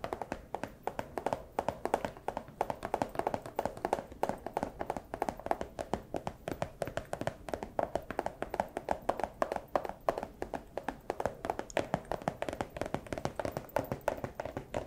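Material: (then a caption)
Plastic. A small, empty clear plastic pouch is held up and tapped with the claws of a fursuit paw. The result is a steady stream of quick, irregular, dry taps with a light crinkly midrange tone and almost no ring, continuing throughout the clip.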